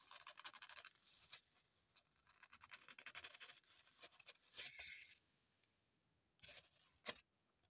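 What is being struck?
Floral foam block.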